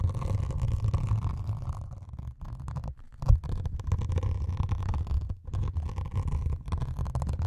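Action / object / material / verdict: scrape / melamine foam sponge with scouring pad / melamine foam / none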